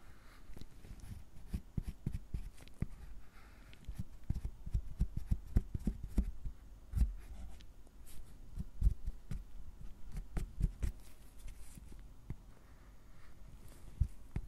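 A gloved hand scrapes a fine metal carving tool across the squares of a solid milk chocolate bar resting on a cutting board. The result is a steady run of short, dull scraping strokes and soft taps, mostly low and thuddy with little brightness and almost no ring.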